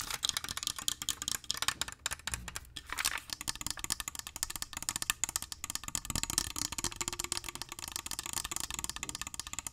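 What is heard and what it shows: Fingernails rapidly tap and scratch the glass sides of a small glass perfume bottle with gold trim and liquid inside. The result is a dense stream of sharp, bright clicks and scrapes that stop almost instantly, with little low-end body.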